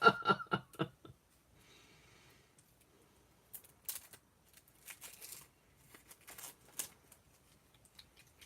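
An unopened plastic bottle of two-way glue, kept for a long time, is shaken in a quick series of sharp sloshing rattles that show the glue inside is still liquid and has not dried out. Quieter, brighter rustling and clicking handling sounds follow.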